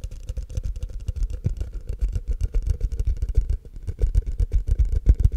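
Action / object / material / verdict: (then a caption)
tap / empty plastic cup, held upside down / plastic / none. Fingertips and short nails tap and scratch the base and sides of a tall, empty, hollow frosted translucent plastic cup held upside down. A rapid, uneven stream of dull, low-heavy taps mixes with thin, bright scratchy clicks, each hit dying away almost instantly.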